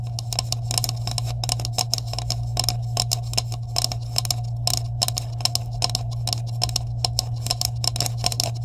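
Long nails tap and scratch along the cap edges of a green hollow plastic tube with caps, held at both ends. Rapid, sharp, bright clicks and scrapes repeat throughout over a steady low hum.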